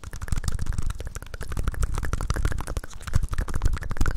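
A small solid plastic Rubik's cube with coloured stickers is held close to the mic and tapped, scratched and twisted with long nails and fingertips. The result is a dense, fast run of short clicks, taps and scraping clatter with a heavy, close low-end thump under each hit. Each hit dies away quickly.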